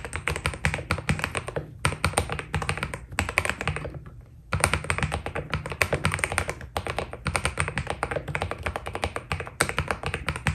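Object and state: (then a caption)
Mechanical keyboard with PBT plastic keycaps. Rapid fingertip typing with both hands on a white Keydous NJ80 mechanical keyboard with PBT plastic keycaps. Dense streams of short, deep, thocky key taps, with a bright clack on top, are broken by brief pauses. The longest pause comes around four seconds in.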